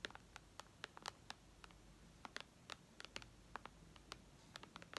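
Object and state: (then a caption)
Tablet glass screen tapped with fingernails. Long red nails tap on the glass screen of a white iPad lying flat, making 21 quick, dry clicks at an uneven pace over a faint steady hiss. Each tap is short and bright with almost no ring.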